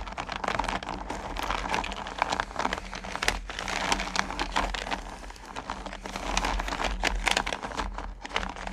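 Hands with long nails rub and stir small, solid mellowcreme candy pumpkins in a purple plastic bucket. The result is a dense, continuous crinkly rustle full of bright clicks and ticks as the candies shift against one another and the plastic. A faint low hum sits underneath throughout.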